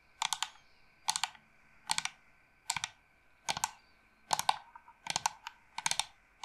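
Long nails tap and scratch a hollow carved wooden incense box, held horizontally and then upright. About eight short bursts of rapid, bright, hollow clicks come at an uneven pace, each dying away almost instantly, with quiet gaps between them.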